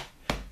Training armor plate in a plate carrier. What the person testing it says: we got a front here it's solid it sounds solid